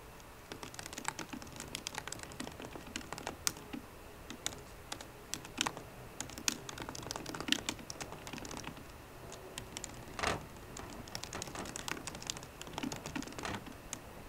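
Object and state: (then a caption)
Laptop keyboard, typing. Fingertips with painted nails from both hands tap away at the black plastic keys of a solid 13-inch silver aluminium MacBook Pro laptop keyboard. The result is a steady stream of quick, dry, bright clicks with almost no ring, with a few louder key strikes and a brief heavier press near the ten-second mark.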